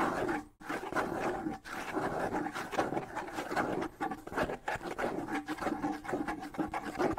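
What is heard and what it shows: Fingernails scratch the decorated wooden shell of a small, hollow wood-and-skin bongo drum held in both hands in front of the face. The result is a steady, dense, raspy scraping with a hollow mid-range resonance, broken only by brief pauses near the start.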